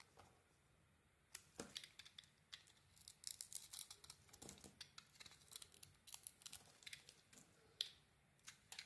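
A metal utility blade carves and shaves curls from the edges of a solid, hand-sized pale peach bar of soap held in a hand with green nails. After a quiet opening second, a rapid, irregular series of crisp, bright scraping and cutting strokes follows, each short and dry with almost no ring and very little low end.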